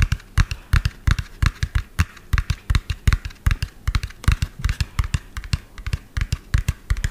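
A medium lime-green hollow plastic toy dump truck with an empty tipper bed is held sideways and tapped rapidly with fingernails on the cab. About 44 quick, dry taps come in an uneven, fast rhythm, each a short hollow thump with a bright click and almost no ring.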